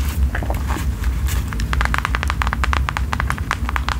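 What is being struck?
Faux leather passport cover.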